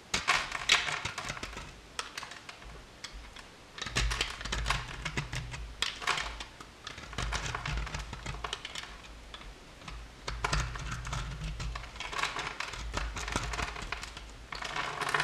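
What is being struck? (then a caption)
Bar of soap cut with a knife. A hand-sized, blue and white striped solid bar of soap, pre-scored into cubes and held in the hand, is cut with a metal utility knife blade. Bursts of rapid, crisp clicking and crackling come with each pass of the blade, over soft low thumps. Cube chips break off and fall onto the table.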